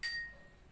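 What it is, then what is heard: Glass tapped with a pen, ringing. A glass is tapped once with a pen, giving a single bright ringing tone around 1.9 kHz with high overtones. The ring fades quickly, leaving a faint hum that tails off within about a quarter second. The ringing comes from the glass vibrating.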